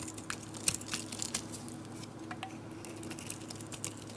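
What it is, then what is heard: Cream bar soap being carved. A metal blade carves and scrapes flakes off a solid oval cream bar of soap with a dark painted back. Quiet, crisp scratching and crackly clicks run throughout, with a few sharper bright snaps, over a faint steady low hum.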